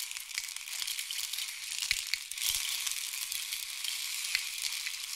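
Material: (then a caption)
Wood. A long, hollow, painted wooden or bamboo rain stick is tilted in both hands, sending its filling cascading down inside. It makes a steady, quiet, bright hiss of dense tiny clicks and patters, almost entirely high-pitched with no low end, and a few slightly louder ticks stand out along the way.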